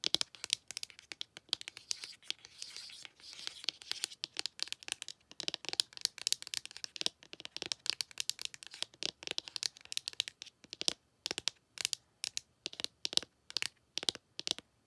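A long acrylic nail scratches and taps at the edge of an open pink ColourPop cardboard eyeshadow palette with nine powder pans. Rapid, crisp, dry clicks and scratchy crinkles come in dense bursts with brief gaps, bright and thin with no low end. Each tick stops instantly.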